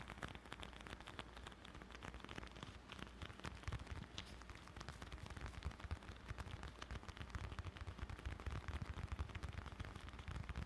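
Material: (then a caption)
Leather. A closed dark brown leather bifold wallet, held close to the mic, is tapped and scratched with fingertips. A dense, continuous run of soft, quick taps and scratches has a heavy low thump under brighter crackle, and each tap dies away almost instantly.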